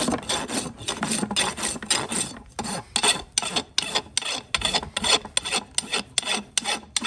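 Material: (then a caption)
Keratin. A large steel rasp files the front of a solid keratin horse hoof wall resting on a metal stand, working the surface with long repeated strokes. Each stroke gives a bright, dry, scraping rasp with little low end, arriving in quick, uneven bursts with short gaps between them.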